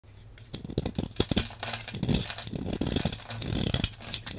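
A solid blue hand-sized bar of soap is held in one hand while a metal blade with a patterned handle shaves and scrapes flakes and chunks off its surface. The result is a rapid run of dry, crisp scraping and crunching strokes over a low hum, with a quiet start before the cutting begins.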